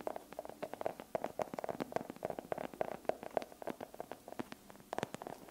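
Long pink acrylic nails tap a solid dark chocolate bar held close to the microphone. The result is a quick, irregular run of light, dry clicks with a hollow mid-range tone, each one dying away almost at once.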